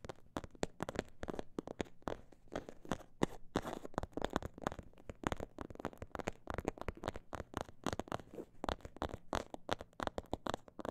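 Long nails tap and scratch the textured surface of a small snakeskin-print faux leather pouch. A quiet, steady stream of short, dry taps runs throughout, with some faster bursts and a few soft scratchy rasps in between. Each tap dies away almost at once, leaving a muted, low-to-mid sound with little brightness.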